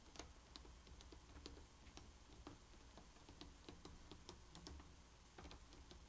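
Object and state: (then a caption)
Wooden jigsaw puzzle tapped. Fingertips and painted nails of both hands tap and rub the surface of a thin, fully assembled wooden jigsaw puzzle, flat and solid, lying on a bamboo mat. Quiet, short, dry clicking taps, like a clock's tick, come in a steady uneven run over a soft low hum and faint rubbing hiss. Each tap dies away almost at once.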